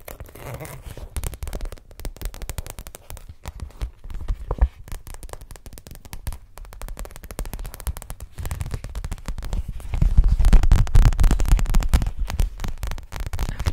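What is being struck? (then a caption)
Thin clear PVC pouch. An empty clear PVC pouch, held in one hand, is tapped and scratched by the long nails of the other hand, making a dense, irregular run of crinkly taps and scraping crackles. The sound grows noticeably louder and busier for the last few seconds.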